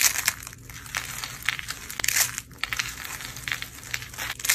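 A hand with long painted nails grabs handfuls from a heap of dry blue-teal soap flakes and curls and crushes them in the fist. The result is a steady run of dry, bright crunching and crinkling, with short crackly bursts that rise and fall and no lingering ring.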